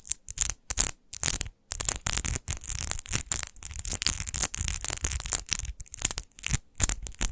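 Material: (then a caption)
Glass. Long nails scratch the textured base of a large, hollow, rose-shaped glass wine bottle with rose relief, lying on fur, in fast strokes. The result is a rapid run of short, bright, hissy scratching bursts with a soft low rumble underneath, broken by brief silent gaps.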